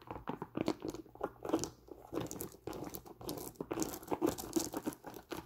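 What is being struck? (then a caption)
Nubuck leather work boot. Long nails scratch and tap the leather upper of an empty tan nubuck leather Timberland work boot with metal eyelets and a thick rubber sole. The result is a close, dry series of crunchy scrapes and quick, muffled taps that die away almost at once.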